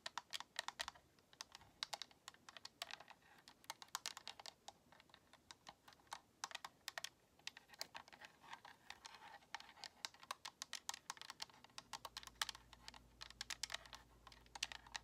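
Long nails tap quickly on the face buttons and shell of a white, hollow plastic Xbox controller. The result is a fast, uneven stream of short, bright, clicky plastic taps with almost no ring. A faint low hum comes in near the end.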